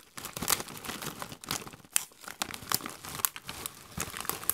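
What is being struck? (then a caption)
Metallized plastic chip bag with chips. Gloved hands squeeze, crinkle and shake a metallized plastic Doritos chip bag that is partly full of chips. Dense, bright crinkling and crackling come in uneven bursts, with sharp high snaps rising over the rustle.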